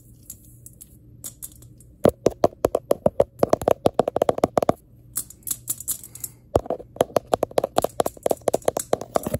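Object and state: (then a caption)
Glass globe tapped with nails. Long nails tap on a glass electric globe, with no speech. Soft, sparse taps in the first two seconds give way to rapid, sharp, clicky ticks with almost no ring. After a brief lull around five seconds, the tapping resumes at the same quick pace to the end.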